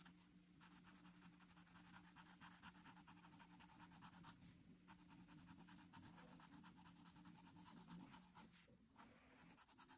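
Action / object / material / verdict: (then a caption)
scrape / felt-tip marker on a paper sheet / paper / none. A felt-tip marker nib is rubbed and scratched back and forth across a flat white paper coloring sheet with printed line art lying on a surface, filling in an orange frame. Rapid, crunchy scratching strokes produce a dense, bright hiss over a steady low hum, with brief pauses near the start, middle and end.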